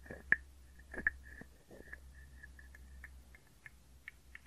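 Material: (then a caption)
Wood. A small hollow wooden frog guiro is scraped and tapped with a wooden stick close to the microphones, giving short dry clicks and raspy scrapes over a faint low hum. Each tap brings out a hollow woody tone around 1.7 kHz that dies away almost at once. The two sharpest taps come early, followed by softer, irregular scrapes and taps.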